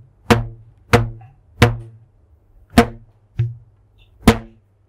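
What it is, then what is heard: Stretched rubber band plucked. A thin purple rubber band, held stretched between the hands, is plucked with the fingertips six times at uneven intervals. Each pluck gives a short, dull twang with a low pitched hum and quickly fading overtones.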